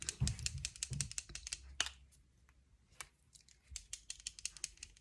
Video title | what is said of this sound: I’m bored so let’s play with makeup | you can hear the little beads in there because it mixes up the shade